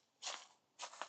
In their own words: You can hear just underfoot how crispy stuff is on the ground.